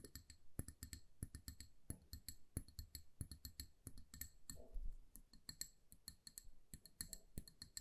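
A small amber glass candle jar with a paper label, filled with wax, is tapped on its glass sides with long nails. Many quick, light clicks and taps come in irregular bursts, each dying away almost at once, with a bright glassy tick over a soft low thump.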